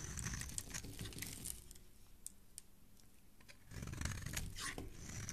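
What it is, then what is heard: Bar of soap being shaved with a blade. A utility knife blade scrapes and shaves across a palm-sized, solid rectangular yellow soap bar with stamped lettering, held in the hand, as curls fall off. Dense, crisp scraping and crunching with bright crackles fills the opening and end, easing to softer, quieter shaving in the middle before the strokes grow louder again.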